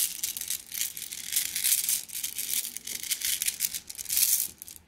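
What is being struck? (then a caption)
Flat glass gems in a plastic mesh bag. A plastic mesh bag of flat blue glass gems is squeezed and kneaded by hand so the gems clink. The result is a steady, bright, crinkly rattle of many small clicks that swells and fades in waves.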